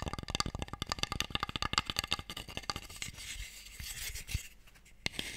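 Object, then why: Small wooden box tray. An empty, hollow wooden Mikado box tray is held open in both hands while a nail and fingertips tap along its sides and edges. Rapid, dry, bright clicks with a woody knock near 1.2 kHz fill the first three seconds, then ease into a softer, continuous scratchy rustle with a couple of isolated taps near the end.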